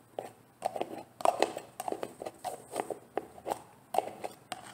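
Long painted nails tap on a large, green, translucent plastic jar of olive oil styling gel that looks full and is held in the hand. Quick, dry tapping comes in short clusters with brief pauses between them. The clicks have a hollow, mid-range tone around 700 Hz, a light bright edge, and almost no ring.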